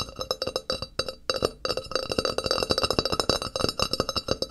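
Fingertips and nails tap and scratch the face and edge of a thin, flat, solid white ceramic wall tile held upright on a table beside a binaural microphone. A rapid, uneven run of bright, clicky taps follows, with short glassy rings and high, tinkling overtones. A brief pause breaks the run before it resumes more densely.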